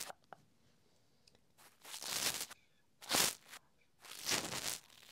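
A small black plastic Rode Wireless GO II wireless microphone transmitter with blue LEDs, held in the fingers, is poked, tapped and scratched at its button and surface with a thin green tool. Two faint clicks come first, then three longer, bright, dry scratching bursts with a rough, tearing texture.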